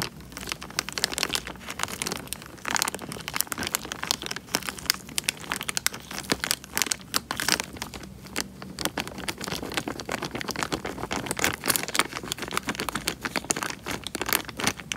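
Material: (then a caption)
Plastic film. Fingertips squeeze and crinkle the thin film of a small, clear plastic bag full of water. A steady stream of dense, bright crinkles and crackles carries on without a break, with very little low end.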